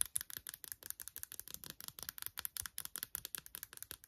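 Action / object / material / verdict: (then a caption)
tap / empty silicone phone case / silicone / none. Long nails tap and scratch quickly on the front and back of an empty pink quilted silicone phone case as it is turned over in the hands. The result is a quiet, fast, uneven run of dry, bright clicks and scratches with almost no low end and no ring after each hit.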